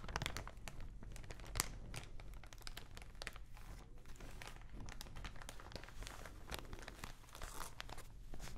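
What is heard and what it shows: A thin clear plastic packaging bag packed with soft white contents is held in both hands and squeezed and crinkled with fingers and nails close to the mic. A quiet, continuous stream of fine crackling and crinkling snaps plays over a steady low rumble, with one sharper, louder crackle near the start.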